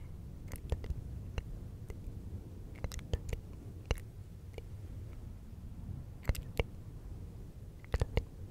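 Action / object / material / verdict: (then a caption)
scrape / synthetic fur microphone windscreen / synthetic fur / none. Fingertips of both hands scratch and rub a fluffy synthetic fur windscreen on a silver microphone. A low, steady rustling rumble is broken by short, sharp crackling ticks that flash up into the high range.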